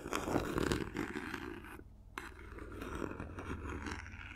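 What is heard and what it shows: A small, hollow, silver paper-covered cardboard gift box is turned in the hands while long nails scratch and tap along its sides and edges. The result is dense, papery scraping with quick taps, a brief pause near the middle, then softer, steady scratching that continues to the end.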